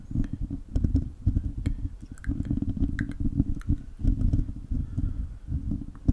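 A hollow silver metal mesh microphone grille is scratched with the fingertips and short nails of both hands. The result is a dense, continuous low rumbling and scraping with a deep boomy tone, scattered with faint, brief crackles and ticks higher up.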